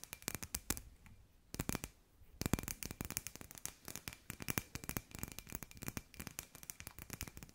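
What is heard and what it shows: Long nails tap rapidly on a hand-sized hollow glass sphere with fairy lights inside, making a dense run of sharp, bright clicks that die away almost instantly. The tapping pauses briefly around the first and second seconds, then continues unevenly to the end, with a faint steady tone underneath.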